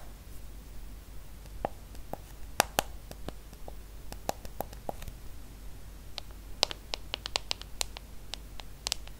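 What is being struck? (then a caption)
Smartphone with glass screen and aluminium frame. Long acrylic nails tap and scratch the glass screen of a small, solid iPhone held flat, with an aluminum frame. Sharp, bright clicks with a slight ringing tone around 800 Hz stand out over a faint low hiss. The taps come in irregular bursts, more tightly clustered toward the end.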